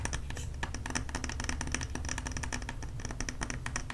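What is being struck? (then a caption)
Wax-filled glass candle jar with metal lid. A medium glass jar candle filled with wax and closed with a metal lid is held in the hands and tapped and scratched with long nails on its glass sides and metal lid. Quick, dense clicks and scratchy sounds run continuously over a low, steady rumble.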